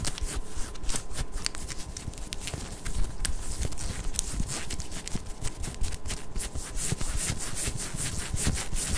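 Long acrylic nails from both hands scratch a pink ribbed knit cotton long-sleeve top as it is worn, working at the waist and midriff. The result is a continuous run of quick, rasping scratches with bright, crisp edges over a dense low rumble, and a faint steady tone underneath.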